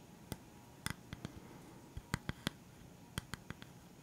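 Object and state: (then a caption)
Solid bamboo board. Fingertips and nails tap on a solid, flat round bamboo stand with black rubber feet. A quiet, irregular series of short, dry taps gives each hit a low thud with a bright click on top. The taps stop at once with no ring between them.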